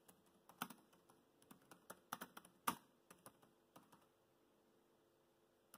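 Fingertips tap the black plastic keys of a laptop keyboard while typing, making quiet, irregular, dry clicks with very short decay. The taps come in uneven bursts, with a few louder strokes in the first three seconds, then thin out into near silence before one last tap at the end.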